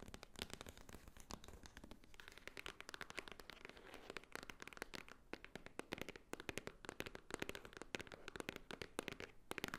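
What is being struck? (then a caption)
Small cardboard box. A flat rectangular white cardboard Swarovski jewelry box, held upright and seemingly hollow, is tapped and scratched on its top edge and face with long nails. Rapid, dense, dry clicks and scratchy crackles come through quietly, each tap bright and papery and cut off at once with no ring.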